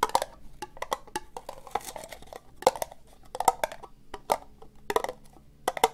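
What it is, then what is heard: Plastic cup tapped with fingernails. An empty, hollow orange ribbed plastic cup is held sideways and tapped slowly with fingernails. Short, dry, clicky taps with a hollow knock around 760 Hz come in an uneven rhythm. Each tap dies away almost at once, with a few louder accents among softer ticks.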